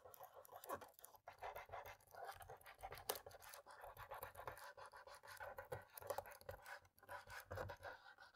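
Fingertips hold a cotton swab that scrubs along the gaps between the black plastic keys in the top row of a dirty laptop keyboard. It makes a quiet, continuous scratchy rasping with many short brushing strokes, centred in the midrange with little low rumble.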